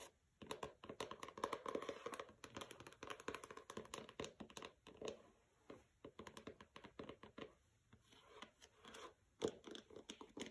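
Long nails tap and scratch the matte paper dust jacket of a pink hardcover book resting on a carpet. Quick, quiet, dry clicks come in rapid bursts with scratchy rustling between them, centered in the midrange with a little brightness. Each tap dies away almost instantly, with short pauses between runs.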